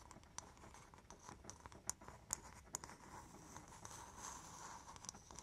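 A hollow, empty, polished brown coconut shell bowl is held in both hands and scratched and tapped with long painted nails. Quiet, bright scratching runs throughout, punctuated by sharp, short clicks that stand out at irregular intervals.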